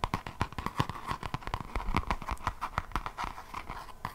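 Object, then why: Paper page edges of a closed hardcover notebook. Long nails scratch rapidly across the paper page edges of a closed hardcover notebook held edge-on. The result is a dense run of short, dry, crackling scratches and soft ticks with no ring, steady in level throughout.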